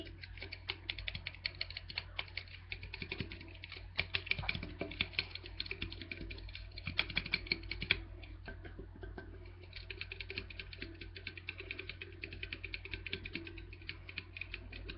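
A small, hollow red Smirnoff vodka-cranberry aluminium can, likely sealed and full, is held in both hands and tapped and scratched with fingertips and nails. The result is a dense run of quick, bright, clicky taps and scratches that die away almost instantly, over a steady low hum. The taps soften briefly around the eight-second mark before picking up again.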